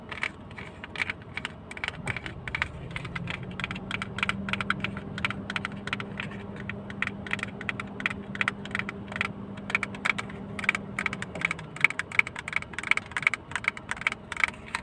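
A hollow white plastic toy yacht model, held in the hands, is tapped with fingernails in quick, irregular, sharp clicks with a bright, hollow plastic tick. A steady low hum rises in around two seconds, holds beneath the tapping, and fades out near eleven seconds, while the clicks continue to the end.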